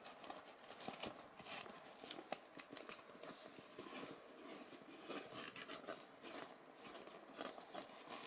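Fingertips and nails rub and scratch the hollow domed cups of an empty white polystyrene foam egg tray. The result is a quiet, continuous run of dry, crinkly scraping and squeaky rasps with a bright hiss on top and almost no low end, swelling and fading in short bursts.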